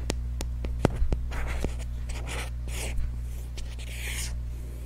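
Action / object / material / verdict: tap / small cardboard box / cardboard / none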